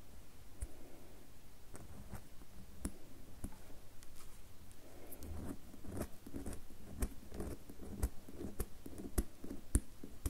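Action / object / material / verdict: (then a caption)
scrape / bar of soap / soap / none. Long fingernails scratch and carve a solid red bar of soap with shavings on top. Soft, dense scratching and scraping rustle along at a low level, broken by short, sharp clicks and ticks that grow more frequent toward the end.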